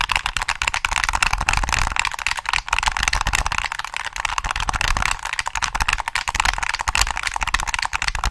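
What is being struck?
Plastic game controller.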